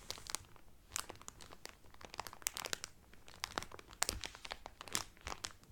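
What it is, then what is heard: Cellophane-wrapped towel being crinkled. Hands press and rub the cellophane wrapping on a cotton Carnival Cruise towel, crinkling it. Quick, dry crackles and sharp snaps come in uneven bursts. The sound is mostly bright, with little low end.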